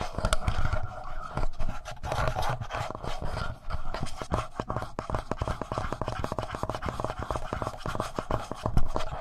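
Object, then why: Plastic handheld audio recorder casing. Fingertips and short nails tap and scratch the plastic front body of a black, palm-sized, hollow Tascam portable recorder, just below the mic capsules of the recorder doing the recording. The close handling produces a steady stream of rapid, boomy low thumps and dry scratchy rubbing with a hollow plastic tone.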